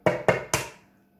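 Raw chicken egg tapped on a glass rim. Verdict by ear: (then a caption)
Cracked. A raw chicken egg held in the hand is tapped three times against the rim of a glass, giving three short, sharp knocks, the last a little brighter and longer-fading. The shell is cracked, ready to be opened with the thumbs and poured into the glass.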